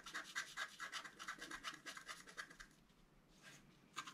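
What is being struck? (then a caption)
Black-coated scratch-art paper card scraped with a wooden stylus. A wooden stylus scrapes the coating off a flat, black-coated scratch-art card about A4 in size, resting on a table, with a rubbing motion. Quick, uneven scratchy strokes with a bright, papery rasp come in a rapid series for about two and a half seconds, then grow quieter and sparser before a final burst at the end.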